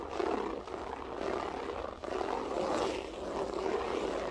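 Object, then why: Loop-pile floor carpet. Long acrylic nails scratch across a flat beige carpet with a textured loop pile. The result is a steady, dry, raspy scratching concentrated in the low-mid and mid range, with brief dips where the strokes change direction.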